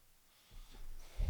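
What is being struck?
Nothing is struck.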